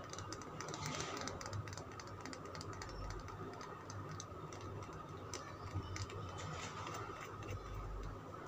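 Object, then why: Bar of soap. Fingernails scratch and tap a solid green Lux soap bar held in the hand, producing a dense, steady stream of soft clicks and scratchy rasps with brief brighter ticks. A low, steady rumble sits underneath throughout.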